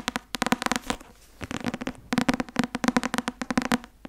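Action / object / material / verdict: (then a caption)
tap / softcover book tapped with fingernails / paper / none. Long nails tap the cover of a thick white and blue Academia Iuris softcover textbook held up close, making quick, dry clicking taps with a hollow papery body. The taps come in rapid bursts with a short quiet pause near the middle, each one cut off almost instantly.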